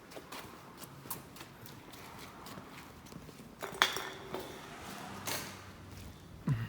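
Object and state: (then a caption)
Alloy wheel rim ringing when tapped. BBS RT three-piece split-rim alloy wheels, meant to go on an E36, are handled and tapped, giving bright metallic clinks that ring like bells over a low background. The rims ring as they should, with a few sharper strikes near the middle and a heavier knock at the end.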